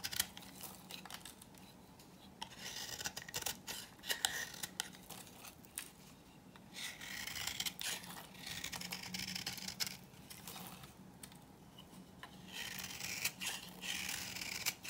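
A knife blade scrapes and cuts into the surface of a hand-held, solid, dry pink bar of soap. Dense bursts of bright, crisp scraping and shaving sounds come in uneven runs with short pauses between them. There is a faint low hum underneath.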